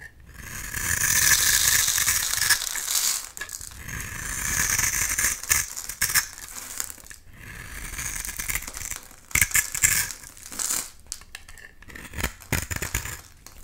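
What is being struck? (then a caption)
Bar of soap. A solid pink bar of soap held in the hand is scraped and shaved with a box-cutter blade, peeling shavings off. Long, bright, crackling scrapes swell and fade, then break into quicker, irregular rasping strokes with little low end.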